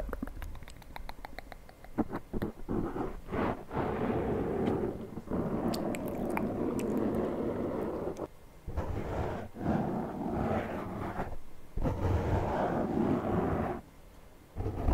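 Fingertips of both hands scratch and tap a black foam windscreen on a Zoom handheld recorder held close to the microphone. A quick run of sharp taps in the first two seconds gives way to dense, muffled scratching and rubbing with broad low-mid rustle. Brief pauses break up the steady scratching.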